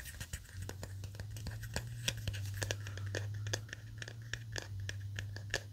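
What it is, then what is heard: Plastic hairbrush with nylon bristles. Fingertips and nails scratch and flick the purple nylon bristles of a small handheld paddle-style hairbrush and rub along its hard black plastic back and rim. Rapid, bright, crackly flicks and scratchy rasps come in quick succession over a steady low hum.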